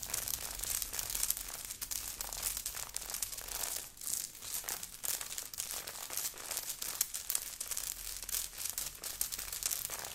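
A grey knit sweater with a beaded, sequined heart on the chest, worn by the wearer, is scratched and rubbed quickly with long painted nails of both hands. The result is a dense, bright crinkling and scratching texture with rapid crisp clicks. A brief lull comes near the four-second mark.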